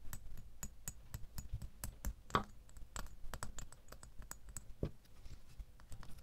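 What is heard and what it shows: A small solid metal door key lies in an open palm and is tapped on its bow with a fingernail, producing a quiet, steady run of quick, dry ticks. Each tap has a faint metallic note around 1.1 kHz with bright clicky edges and dies away almost at once, with one slightly louder tap partway through.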